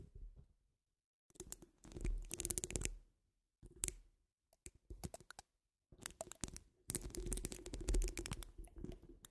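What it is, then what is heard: Metal mesh microphone grille being scratched. Long almond-shaped nude acrylic nails on both hands, with rings on the fingers, scratch and tap the rounded, hollow woven steel mesh grille of a large condenser-style microphone. Bursts of dense, crackly scratching and quick clicks come in uneven clusters separated by short silences, over a heavy low, rumbling thump. The sound is close and dry, with bright scratchy edges.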